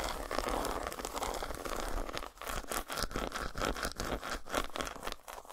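Long nails tap and scratch the squares of an unwrapped solid dark chocolate bar resting on a towel. A dense, steady crackling scratch fills the first two seconds, then breaks into quicker, separate taps and scrapes with short pauses, a papery crunch with bright edges over a low rumble.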